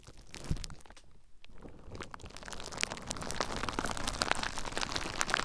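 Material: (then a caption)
Plastic. Fingertips press, scratch and squeeze clear plastic bubble wrap wrapped around a recorder to pop the bubbles. Dense crinkling and scratching are punctuated by sharp, bright snaps. After a brief quieter moment the crackle grows busier and slightly louder toward the end.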